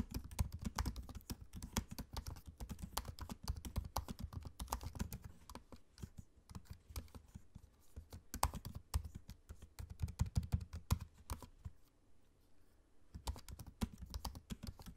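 Fingertips type on a MacBook-style laptop keyboard with low-profile plastic keycaps set in a space-grey aluminium body. Quick runs of soft, dull, low taps come in bursts, with a thinner stretch around six to seven seconds and a brief near-silent pause around twelve seconds before the typing resumes.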